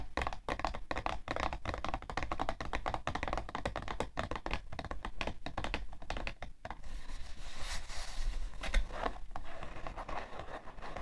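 Long nails tap rapidly on the side panel of a hollow, printed cardboard tissue box, making quick, dry, hollow clicks with a dull low thump beneath them. After about six and a half seconds the tapping gives way to a softer, continuous scratching texture with brief bright swells, before light taps return at the end.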